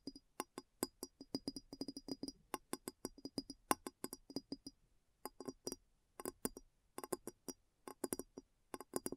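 Long nails tap the base and sides of a clear, hollow glass bowl placed upside down. They make quick, irregular bursts of short, dry clicks with a soft hollow body and a bright, glassy tick on top. Each tap dies away almost instantly, with brief pauses between the runs.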